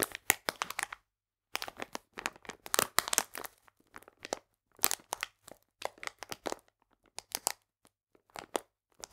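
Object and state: Plastic bag of polenta, crinkled.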